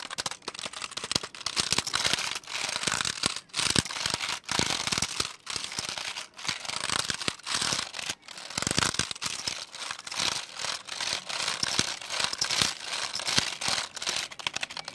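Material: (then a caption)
Plastic. Fingertips type and tap on the number-pad and letter keys of a black plastic computer keyboard held close. The result is a dense, continuous stream of quick, bright plastic clicks and clacks with almost no low end, broken by a few brief pauses.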